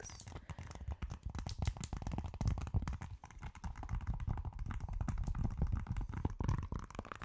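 A purple octagonal silicone pop-it fidget toy with hollow bubbles is held close to the mic and tapped, scratched and pressed with long acrylic nails. The result is a dense stream of quick, soft, dull taps and thumps, heavy in low tones with very little high-end brightness. Faint scratchy textures sit between the hits.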